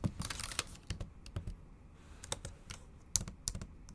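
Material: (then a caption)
Plastic. Long acrylic nails type on the bare plastic keys of a backlit MacBook Pro laptop keyboard. The sound is a quick run of sharp, bright clicks with dull low thuds beneath them, and each tap dies away almost at once. About ten distinct taps stand out above a softer, steady patter.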